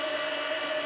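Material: Nothing is struck.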